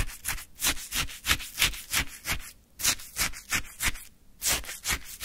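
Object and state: Shaved ice scraped with a wooden stick.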